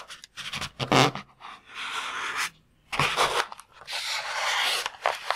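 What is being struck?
Water-filled latex balloon.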